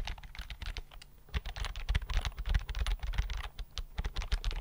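Fingertips type on the flat chiclet keys of a thin white plastic keyboard held in both hands. The result is a rapid, irregular patter of short, dry clicks, each with a low thud beneath a brief bright tap. The typing is softer for the first second or so, then grows louder and denser.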